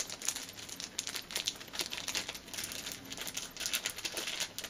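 A thin, clear plastic film strip is held between both hands, stretched and crinkled with fingers and nails. It makes a steady stream of dry, bright crackles and crinkles, with almost no low end.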